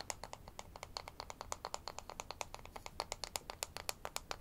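A thin, solid light-wood toy ruler with a printed scale, held in both hands, is rapidly tapped and scratched with fingernails. About 36 quick, dry clicks sound over a faint low hum, each sharp and bright with almost no ring.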